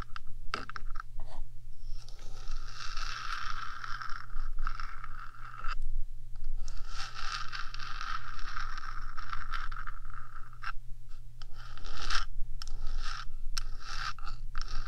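Long nails on one hand scratch the top surface of a small, hollow, rectangular metal 3Dio binaural microphone body. Bursts of bright, rasping scratches come and go over a steady low hum, with short pauses between strokes.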